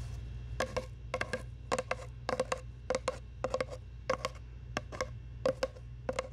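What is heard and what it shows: Long nails tap and scratch a long, hollow brown cardboard tube close to the mic, in quick clusters of two or three taps spread across the clip. Each tap gives a short, hollow knock around 535 Hz with a bright edge that dies away almost at once, over a steady low hum.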